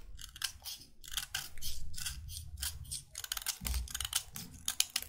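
A solid white chalk stick held between the fingers is scraped over and over with a utility knife blade, shaving off chalk as it is carved. Each stroke is a short, dry, bright scrape, heard in a quick, uneven series over a soft low rumble.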